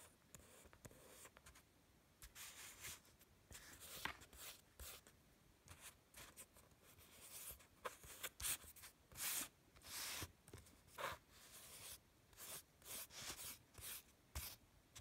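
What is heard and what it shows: Fingertips rub and stroke across a flat sheet of drawing paper covered in marker drawings. The result is quiet, dry, bright swishing strokes in short bursts of varying length, separated by near-silent pauses.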